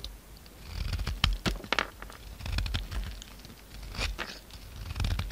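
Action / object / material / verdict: scrape / soap bar / soap / none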